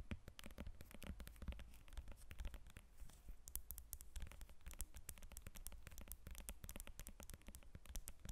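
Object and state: Lemon tapped and scratched with nails.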